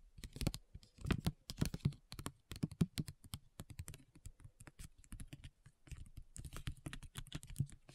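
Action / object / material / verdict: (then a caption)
tap / foil and paper sheet mask pouch / foil / none. A flat foil and paper facial sheet mask sachet lying on a table is tapped and scratched with long nails and fingertips. The result is a quiet, rapid, uneven stream of short, dry clicks and soft crinkly scratches that stop almost instantly, with most of the sound in a low thud.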